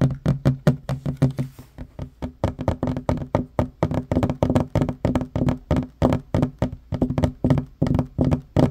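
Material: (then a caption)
Wood. Fingertips and short nails tap fast on a flat, solid wooden table top, making about 43 quick, dry knocks in a steady, uneven rhythm. Each tap is dull and low, with a woody tone near 137 Hz and almost no ring, ending the instant it lands.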